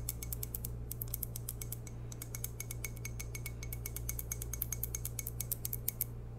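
Long painted nails tap quickly and unevenly on a medium-sized, hollow white ceramic coffee mug printed "Morning gorgeous," held in both hands and possibly holding tea. Dozens of bright, dry clicks come with a faint glassy ping that dies almost at once, over a steady low hum.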